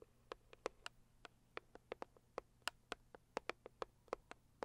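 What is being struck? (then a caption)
Rigid cardboard box. Long purple acrylic nails tap and scratch the lid of a medium-sized, hollow, pink floral Saviland rigid cardboard box. Seventeen quiet, dry, clicky taps land in an uneven rhythm, each stopping at once with no ring. A faint scratching sits between them, with the sound centred in the bright upper mids.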